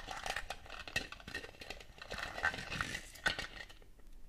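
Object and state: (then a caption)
Ribbed plastic Christmas ornament ball. Long gold metal claw nail covers tap and scratch the ribbed surface of a large, shiny red, hollow plastic Christmas bauble with a metallic finish, held in the hand. The result is a quiet, continuous run of light, bright clicks and short scratchy rasps with very little ring, with a few sharper taps standing out.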